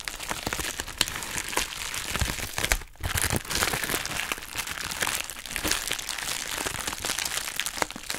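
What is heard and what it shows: A hollow, empty pink heart-shaped plastic bubble wrap mailer bag is squeezed, crinkled and scratched with long nails. Dense, bright crinkling and crackling fills the clip with a steady stream of sharp little snaps. There is only a brief quiet dip just before the 3-second mark.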